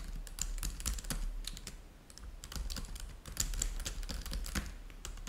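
Fingertips of both hands type rapidly on a black laptop keyboard with plastic chiclet keys, resting on a white table. A dense, uneven stream of short, bright plastic clicks carries over a soft low thud beneath each keystroke, with brief pauses where the typing slows.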